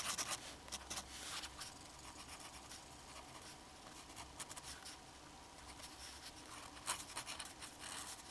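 The metal nib of a black fountain pen scratches across a flat sheet of drawing paper while drawing the strokes of an ink cartoon. Quiet, bright, dry scratching comes in short bursts of strokes, with louder scrapes near the start and toward the end.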